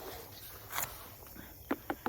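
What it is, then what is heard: Ripe watermelon. A watermelon growing in a garden patch is knocked four times, each giving a short, hollow thump around 270 Hz that dies away almost at once, over quiet outdoor background. It is judged ripe from the hollow sound plus its yellow belly spot, dull skin and brown tendril, and it is not cut open.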